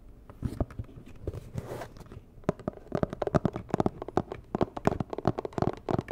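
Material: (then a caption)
Cardboard. A medium, hollow, rigid white and red cardboard box is tapped and scratched with long nails. Soft scratching and rustling at the start give way to a quickening run of sharp, dry, hollow taps that die away almost instantly.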